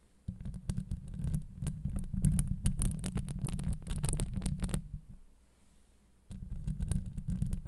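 Long acrylic nails on the fingertips of both hands scratch the hollow, rounded steel wire-mesh grille of a Blue Yeti microphone head. This produces a dense, deep rumbling scrape dotted with bright clicking ticks. The scratching pauses for about a second and a half near the end, then resumes.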